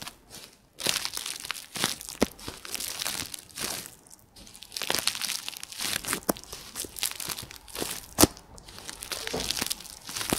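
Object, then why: Plastic bubble wrap. Clear plastic bubble wrap is crumpled and squeezed in both hands, close up. It gives a dense, bright crinkling and crunching with brief pauses, and a couple of sharper snaps stand out.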